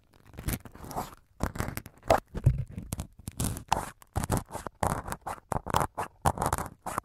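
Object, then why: Foam microphone windscreen. A syringe needle repeatedly pokes the right-hand white foam windscreen of a multi-capsule microphone while fingertips hold the top foam. It makes a rapid series of short, scratchy, crunching bursts with a heavy low thump and muffled body. Each poke dies away almost at once.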